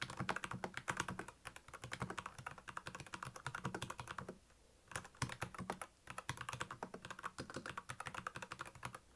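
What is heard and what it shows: Fingertips of both hands type on a black plastic Royal Kludge mechanical keyboard with backlit keys, producing rapid, crisp clacking keystrokes with a bright click and a low thock. The typing runs steadily, pauses briefly near the middle, then resumes at the same quick pace.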